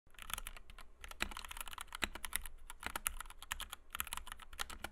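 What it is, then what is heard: Plastic mechanical keyboard. Fingertips of both hands type rapidly on a compact white 60% Kemove DK61 mechanical keyboard with Gateron Red switches, PBT doubleshot keycaps and a plastic case, resting on a desk mat. A fast, dense stream of short, bright clacks with quick thocky low ends, running over a faint steady low hum.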